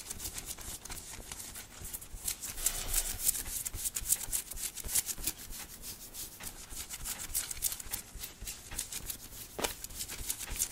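Fingertips and nails of both hands quickly scratch and rub a thin red cotton t-shirt worn on the body over the chest and belly. The result is dense, bright, hissy scratching in rapid, irregular bursts with short, crisp rubbing strokes and no ringing.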